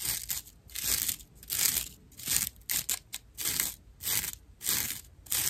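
Long nail tips scratch a dry natural loofah slab with loose fibers at its edges. The result is a series of rough, bright, hissy scratching bursts with a crunchy, crinkly texture, repeating at an uneven rhythm with brief quiet gaps between strokes.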